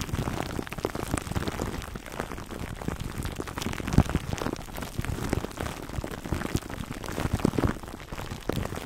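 Fingertips scratch and rub the crinkly clear plastic wrap covering a foam microphone cover, heard close up. A dense, continuous crackle of short, dry snaps and rustles sits mostly in the low range, with a few sharper pops standing out, the loudest near the four-second mark.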